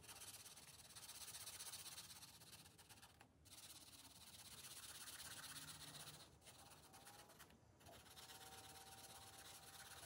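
The felt tip of a blue marker, held in the fingers, rubs continuously across a thin paper page of a spiral-bound coloring book lying on a glass table while coloring. A steady, bright, scratchy rubbing fills the clip at a quiet level, with brief lulls around 3.3, 6.4 and 7.7 seconds before the strokes resume.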